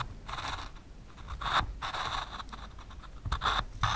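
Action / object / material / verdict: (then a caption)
scrape / pencil on plywood board with plastic stencil / plywood / none. A pencil traces lines on a thin solid plywood board through the openings of a white plastic stencil taped to it. It makes bursts of dry, scratchy strokes with a bright, papery rasp, pausing briefly between passes, over a faint low rumble.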